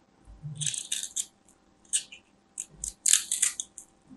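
A palm-sized solid white bar of soap, held in a hand with long nails, has its surface and edge cut and scraped with a small black craft knife. Bursts of bright, crisp scratching and scraping rattle in quick clusters with short pauses between them.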